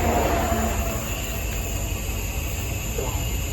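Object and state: Nothing is struck.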